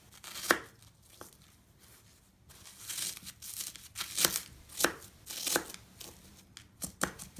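A serrated knife chops and presses into a pile of crumbled green floral foam pieces on a wooden deck. Sharp, bright crunches come in quick bursts, separated by softer crumbling and crackling with very little low end.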